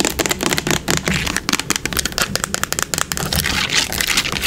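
Long pink nails tap rapidly on a yellow plastic bottle held sideways. A fast, steady stream of short, bright clicks with very little ring, each tap crisp and dry over a faint low hum.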